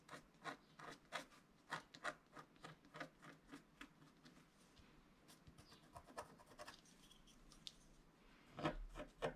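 A wooden stylus scrapes short strokes across a flat scratch-art card of black wax-coated paper lying on a cloth-covered table, while the other hand steadies the sheet. Quiet, dry, raspy scratches come in an uneven rhythm, each one brief with a bright, papery edge. A few louder strokes cluster near the end.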